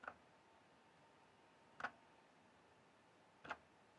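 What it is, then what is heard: Plastic mechanical keyboard keys. Fingertips slowly press and tap single keys on a full-size RGB-backlit mechanical gaming keyboard with plastic keycaps. Three separate, quiet, crisp clicks sound about 1.7 seconds apart, each centered around 1 to 1.5 kHz and dying away almost instantly. A faint steady hiss and a low constant tone sit in the background.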